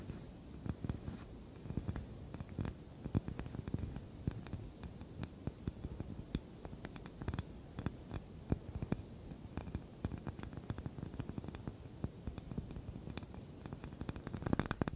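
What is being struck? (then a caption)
Small wooden cutting board. A small, light wooden cutting board with a handle is held upright and scratched with long nails. The result is a steady, dense run of quick, dry scratching clicks with a low, soft, close-up body and little high-end sparkle.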